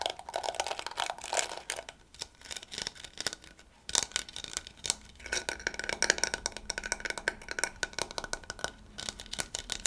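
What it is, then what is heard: Plastic scalp massager brush. Fingertips and nails scratch and brush across the soft yellow plastic bristles of a round handheld scalp massager with a pink plastic body as it is turned in the hands. The result is dense, bright, crackly scratching and rapid clicking, with a couple of brief quieter lulls.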